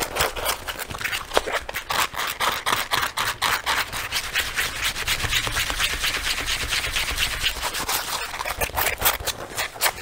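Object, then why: Leather jacket. Fingertips and short nails scratch and rub a worn black leather jacket, a soft hollow garment, across the chest and lapels. The result is a steady run of quick, dry, bright scratching strokes, about two per second in an uneven rhythm, each one short with no ring, over a faint low rumble.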